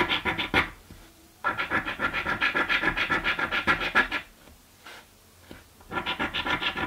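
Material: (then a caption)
Paper. A coin scratches the scratch-off panels of a green paper scratch lottery ticket, making bursts of rapid, gritty scraping strokes with a bright, papery hiss. The scratching stops briefly near the start, then goes quiet for over a second with only one faint scrape before the quick strokes resume.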